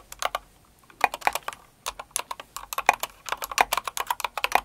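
Both hands with long acrylic nails type on a plastic mechanical keyboard with plastic keycaps, a kawaii Cinnamoroll keyboard. Quick bursts of sharp, clacky keystrokes alternate with short pauses. Each click is bright, thin and dies away almost instantly, with no low thump.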